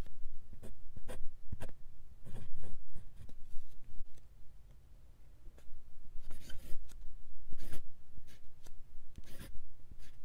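A steel-nibbed fountain pen with a black body scratches and drags across a sheet of thin white lined paper lying flat on a hard surface, writing the cursive words "Thank You For 20..". Short, bright, scratchy stroke sounds come in bursts, with a quieter pause midway before the strokes resume.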